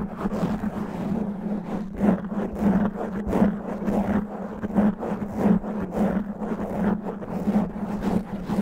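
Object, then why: Foam microphone windscreen. Fingernails on both hands slowly scratch a black foam microphone windscreen. The result is a rough, dull scraping rustle that swells and fades in irregular strokes over a steady low hum near 215 Hz, with little high content.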